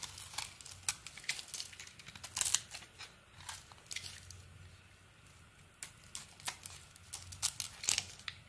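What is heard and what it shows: A solid purple-edged bar of soap with a cream core is held in the hand and carved with a metal blade, shaving strips off its surface. Each cut gives a short, dry, bright scraping crackle, some louder and crisper than others, separated by quiet pauses. The result is an irregular series of crisp, crinkly shaving sounds with almost no low end.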